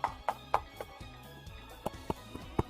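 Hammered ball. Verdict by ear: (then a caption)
Solid. A homemade solid ball, shrinking and growing smoother as it is worked, is struck repeatedly with a hammer. The hammer lands in seven short, sharp taps, each with a brief midrange ring near 800 Hz. The ball sounds hollow even though it is solid.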